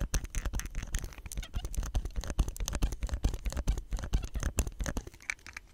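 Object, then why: Plastic soap pump head. Fingertips press down, rub and tap a hollow green plastic soap pump head with a nozzle and white stem. The result is a rapid, uneven run of short, dry clicks and scratchy taps with a deep low thump under each, ending in softer rubbing.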